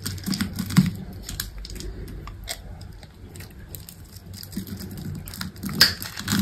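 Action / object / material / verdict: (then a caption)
scrape / soap bar cut with a small knife / soap / none. A small knife slices cubes off a solid, dry green soap bar, and the cubes crumble away. Crisp, clicky cuts and dry crumbling crackles come in a quick, irregular patter over a soft, low rumble. The sound swells with sharper, brighter snaps near the start and end.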